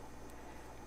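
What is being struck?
Nothing is struck.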